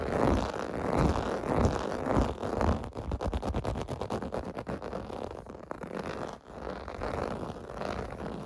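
Fingers scratch the raised bumps of a clear-blue plastic bath mat with a bubble texture lying on carpet. The result is a dense, continuous scratching and rubbing, heavy in the low and middle range. It shifts into a faster, ticking run of scrapes midway and pauses briefly before the steady scratching resumes.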